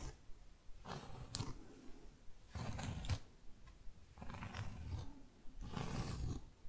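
Long fake nails rub and scratch across the surface of a solid, round, flat cork board trivet. The result is a series of rough, low, rumbling scraping bursts separated by short quiet gaps, with occasional brief, bright scratchy edges.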